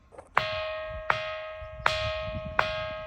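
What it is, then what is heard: Ringing boulder (bell-like rock). A large boulder is struck four times at an uneven pace, and each strike rings out with a clear, bell-like metallic tone. The tone centers around 1.3 kHz with bright overtones and sustains between hits. The rock rings much like a temple bell.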